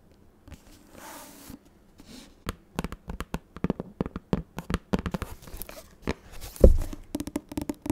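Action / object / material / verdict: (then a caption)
tap / hardcover book with matte board covers / board and paper / none. Long nails tap and scratch the matte, cloth-like board cover of a large grey hardcover book with a solid paper block, then move to the page edge. A soft brushing scratch opens, followed by a quick run of dull, low, dry taps that die away almost instantly, with one heavier knock near the end.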